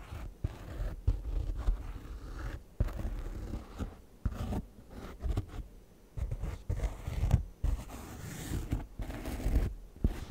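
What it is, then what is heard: Faux leather chair back with embroidered patch, scratched. Fingertips and nails scratch and rub the raised embroidered cloud and food patch on the front of a white padded faux leather gaming chair backrest, with the microphone resting on the seat. The sound is a series of dull, low scratchy rubs and short scrapes, heavy in the low end with almost no brightness, broken by brief pauses.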